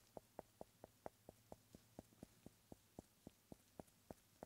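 A solid round cork stopper held in a gloved hand is tapped and scratched with the eraser end of a pencil. A steady series of short, dry, hollow knocks, pitched around 630 Hz, sounds over a quiet background with a faint low hum.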